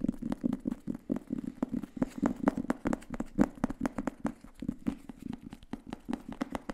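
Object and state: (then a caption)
Paperback book tapped and scratched. Fingertips and nails tap and scratch the paper cover and edges of a thin grey paperback book held in both hands. The result is a rapid, uneven patter of short, dry taps with a soft, hollow low-mid body, and faint papery scratching between them. Each tap stops almost instantly with no ring.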